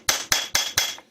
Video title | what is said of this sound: Honda Rancher 420 Rear Differential Rebuild | You can hear it makes a little different noise when you get it all the way down